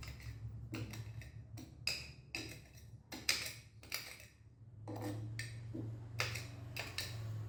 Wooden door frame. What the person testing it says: เสียงมันโปร่งๆก็แสดงว่ายังมีส่วนที่ผุอยู่